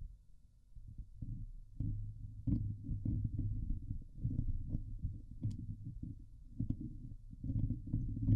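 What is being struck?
Steel mesh microphone grille.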